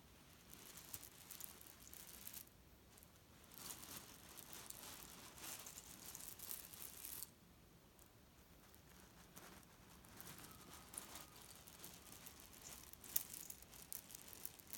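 Fingertips press and scratch the surface of a grey leaf-print cotton pillow filled with cherry stones, then a hand grips and squeezes one corner, shifting the pits inside. Quiet, bright rustling and gritty rattling come in bursts through the first half. After a softer lull, the crunching returns with a sharp click near the end.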